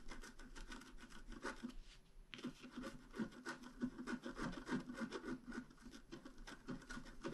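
A pointed wooden stylus scratches across a flat black-coated scratch art card about A4 in size. The strokes are quick, dry and raspy, coming in an uneven rhythm with a short pause near the two-second mark before the scratching resumes.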